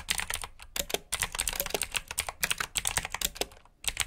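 Fingertips with short nails type quickly on a full-size black plastic mechanical keyboard with RGB backlit keycaps, clicky blue switches and hollow key housings. The result is a dense run of sharp, bright clicks and clacks with very short decay and a few brief pauses between bursts.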